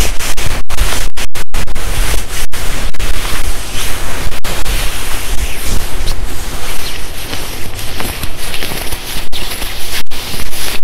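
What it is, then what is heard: Quilted nylon puffer jacket being rubbed and scratched. Palms and fingertips rub and scratch the sleeves and chest of a worn, padded, black shiny quilted nylon puffer jacket. The result is a loud, continuous swishing and scratching rustle with a heavy low rumble under a brighter hiss, broken by a few brief dropouts.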